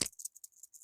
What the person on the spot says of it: you can hear now, shake it up here. These are nice and clean, ready to be re-greased.